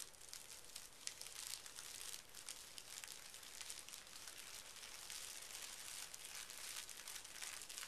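A large flat sheet of thin pink tissue paper lies on carpet while both hands rub and scrunch it with fingertips and short nails. A steady, bright crinkling and rustling runs throughout with little low end, and the sound is quiet and continuous rather than made of separate strikes.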